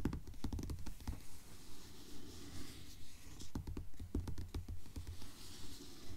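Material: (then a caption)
Paper. Long nails tap and scratch the cover of a blue paperback book lying flat on a table. Quiet, dull, low taps come in quick, fairly steady bursts, mixed with short, crisp scratching strokes.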